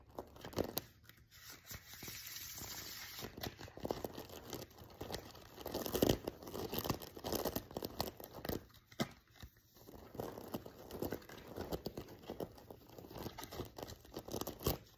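A full deck of thin laminated paper tarot cards is held in both hands above a sequin pillow, bent and bridge-shuffled with the fingertips. The cards riffle and cascade together in dense, papery, crackling bursts with bright, crisp edges, repeating over a quiet background.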